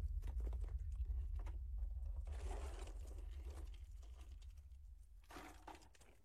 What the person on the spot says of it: if it's a oyster that's leaking it sounds a little more Hollow